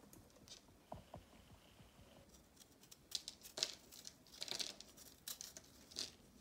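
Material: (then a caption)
Chalk. A small knife scrapes and cuts crumbs off a palm-sized, round solid disc of pressed, reformed multicolor chalk held in one hand, the crumbs falling onto a marble surface. Quiet, dry, bright scraping and crisp crunching cuts come in short bursts, with crumbs lightly pattering down between them.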